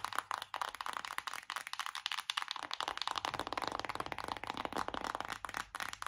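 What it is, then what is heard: Cardboard eyeshadow palette. A flat, hollow, colourful printed cardboard eyeshadow palette (Make Me Brazil), held in both hands, is tapped and scratched rapidly with long acrylic nails. It makes dense, dry, bright clicks and scratchy rasps with a faint crinkle, possibly from a plastic film on it. Each tap dies away almost instantly, with no ring.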